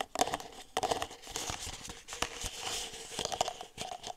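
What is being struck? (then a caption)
Disposable plastic cup. Long nails tap the bottom and sides of an empty red disposable plastic party cup, hollow with its open end facing the mic. The taps come as quick, light, hollow clicks with a slight ring around 730 Hz and a bright, crinkly edge. Each tap dies out almost at once.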